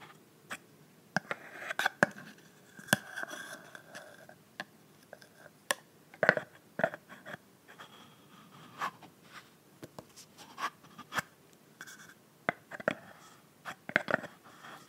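A clear plastic body mist bottle filled with pink liquid and topped with a frosted pink plastic cap is tapped and scratched with long nails while the lid is taken on and off. Many short, dry clicks and taps stand out against a quiet background, and soft scraping and rustling fill the gaps. The sound is crisp and mid-to-bright, with almost no low end.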